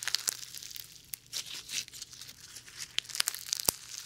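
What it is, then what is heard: Foam ball slime. Sticky foam ball slime, full of small white foam beads, is stretched into a long sheet and squeezed by fingertips away from the mic. Quiet, bright crackling and crinkling pops come in many sharp, scattered snaps over soft rustling, with almost no low end.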